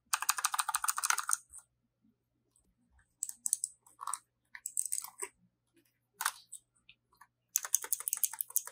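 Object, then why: Plastic mechanical keyboard. Fingertips type on a compact black 60% hot-swappable LEAVEN K620 mechanical keyboard with a hollow plastic case and plastic keycaps, lying on a fluffy rug, with one keycap pulled partway out. Bursts of rapid, bright, clacky keystrokes come in uneven runs separated by short pauses, each click dying away almost instantly.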